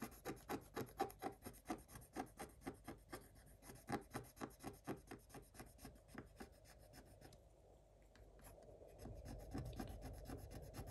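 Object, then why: Coated scratch-art paper scratched with a wooden stylus. Fingers scratch the black coating of a Paw Patrol scratch-art book page, lying flat, with the tip of a thin wooden stylus. Quick, rhythmic dry rasping strokes come about twice a second, then give way to a quieter, steadier rubbing scratch. The sound ends in a low, continuous scraping.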